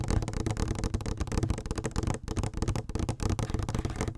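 A medium-size yellow plastic "clean beauty" lotion or shampoo bottle with a pump top, hollow and apparently filled, is held in both hands and tapped and scratched with long nails. The result is a dense, continuous stream of quick, dull taps and scratchy rustles, heavy in the low end, with each tap dying away almost at once. There is a brief lull just past the midpoint.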